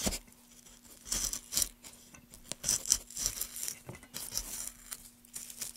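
A gouge carves and scrapes along the grain of a solid pale softwood board, worked with gloved hands. Bright, dry scraping strokes come in short crisp bursts over a faint steady low hum.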